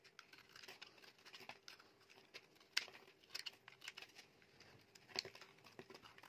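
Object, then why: Bar of soap scraped by a metal knife blade. A metal utility knife blade scrapes and carves shavings off a solid, dry, bright green, palm-sized oval bar of soap. The result is quiet, bright, crisp scraping and crackling in irregular short strokes, with a few sharper snaps standing out around 2.8 and 5.2 seconds.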